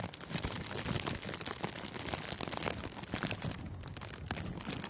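Thin clear plastic cellophane gift wrap is squeezed and crinkled with both hands over a furry microphone windscreen. The result is a dense, continuous crackle of sharp crinkles and crunches with bright highs and a soft low rumble.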